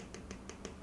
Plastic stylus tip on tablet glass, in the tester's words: the tapping sound sounds solid enough